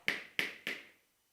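A plastic board marker is tapped three times, each tap giving a short, bright click centered around 2.2 kHz with almost no low end. Each click decays quickly. The marker's sound differs from that of a wooden duster, showing that different materials make different sounds.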